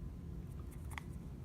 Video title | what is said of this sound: Nighthawk custom AAC 1911 review | you might be able to hear my chain going but no noise there's no movement on this firearm whatsoever